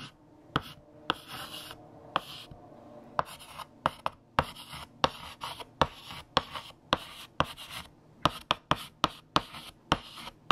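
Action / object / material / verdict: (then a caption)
scrape / chalk stick on a chalkboard / chalk / none. A hand writes on a large, flat black chalkboard with a yellow chalk stick, making dry, scratchy strokes broken by 19 sharp dotting taps. Each tap is short and crisp with almost no ring, and bright, gritty scraping fills the gaps between them.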